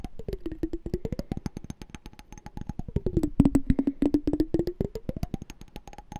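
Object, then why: Small glass jar with water. Fingernails tap and scratch the sides and bottom of a small hollow clear glass candy jar with a pink-and-white checked lid, partly filled with water. Rapid, uneven clicks with short, dry decay ride over a pitched resonance that glides down to about 270 Hz and back up twice as the water shifts.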